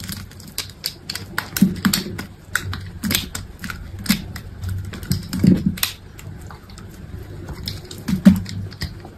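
A utility knife blade cuts slices off a solid green bar of soap held in the hand. Crisp, irregular clicks and scrapes repeat as each slice comes away, each with a brief bright edge and a soft low thud underneath.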